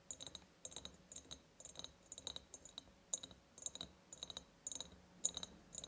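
Long painted nails tap and scratch the ribbed sides of a large, empty glass jar. Quick bursts of bright, crisp clicks and short scrapes come in irregular clusters with brief pauses between them. Each tap carries a faint, high glassy ring.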